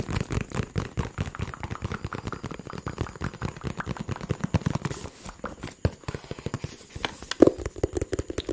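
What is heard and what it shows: A small, hollow, blue-and-white printed cardboard phone box is held in the hands close to the microphone and tapped quickly with fingertips and nails. The result is a steady stream of dry, hollow, low-pitched taps that stop instantly with no ring, briefly thinning out around the middle before one louder tap near the end.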